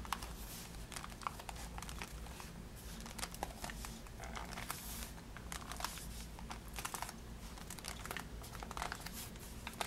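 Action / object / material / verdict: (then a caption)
tap / cardboard box wrapped in cellophane / cellophane, cardboard / none. Long nails tap quickly and scratch across the cellophane-wrapped front of a pink cardboard praline box held up in the air. The result is a steady stream of crisp, bright crinkles and sharp clicks. A constant low hum sits beneath them.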